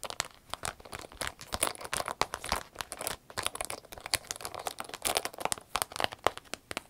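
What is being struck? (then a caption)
Vinyl zip pouch. A medium green striped vinyl zip pouch, empty and held in the hands, is squeezed and scratched with long nails. The result is a dense run of crisp crinkling and scratching bursts, bright and broadband with very little low end.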